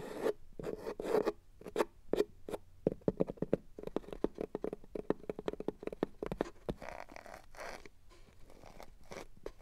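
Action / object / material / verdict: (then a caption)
scrape / felt fabric box lining / felt / none. Long matte black nails scratch and drag over a red felt box lining. Quick, soft, dry scratching strokes come in a rapid, uneven run, then ease into quieter, longer drags toward the end.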